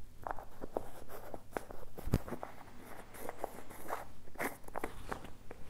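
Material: Plastic.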